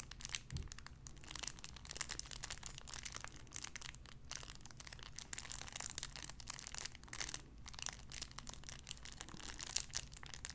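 Fingertips crinkle a clear cellophane wrapper around a small sun-shaped figure. A dense stream of sharp, bright crackles and crinkles runs for about ten seconds over a steady low hum.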